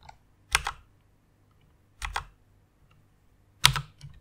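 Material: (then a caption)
Plastic. Fingertips with long nails type on a white plastic mechanical keyboard, producing three spaced pairs of bright, crisp clacks with a low thud beneath each. The clicks die away almost instantly, followed by a faint final tap.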